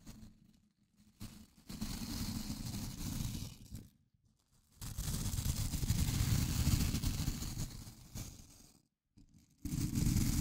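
A fingertip scratches and flicks the dense white nylon bristles of a small blue plastic scrub brush held close to the microphone. It makes bursts of dense, crunchy scratching with a deep low rumble and a bright hiss, broken by short silent pauses.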